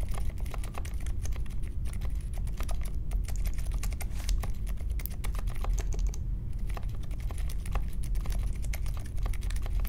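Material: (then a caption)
Plastic. Fingertips type steadily on the plastic keycaps of a compact Polaris mechanical keyboard with a metal case and Silent Alpaca switches, set on a marble desk. A dense, continuous stream of soft, muted key clicks, with deep thocky bottom-outs that die away almost instantly.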